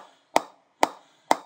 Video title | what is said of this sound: GM Diamond 808 Cricket Bat Review | It's actually got a very nice sound to it. It's deep.